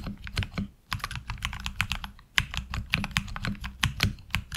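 Fingertips type on a HyperX Alloy Origins Core mechanical keyboard with ABS keycaps, heard close up from the side. About 25 short, crisp keystrokes land in quick bursts, with brief pauses near 0.8 and 2.3 seconds. Each bright click sits over a steady low rumble.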